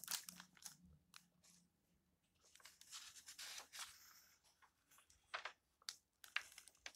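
Fingertips with long nails rub the yellowed paper pages of an open old book and then turn a page. Quiet, dry, bright rustling and scratching come in short bursts, with a louder crinkling sweep as the page turns and brief crisp flicks near the end.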